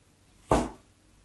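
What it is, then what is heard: Bar of soap being scored. A craft knife blade scratches and scores a solid white soap bar marked with diagonal score lines. A single short scrape starts sharply, carries most of its energy in the low mids around 650 Hz, and fades out within about a quarter second.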